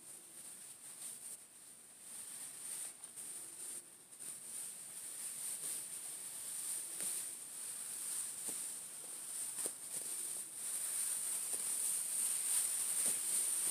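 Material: Nothing is struck.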